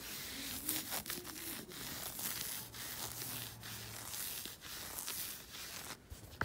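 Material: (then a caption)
Knit fabric. Fingertips and nails scratch and rub a black knit fabric sock worn on the foot and lower leg, the soft fabric stretched over the leg. A quiet, steady, bright scratchy rustle sweeps back and forth, with brief swells of louder strokes and only a faint low hum underneath.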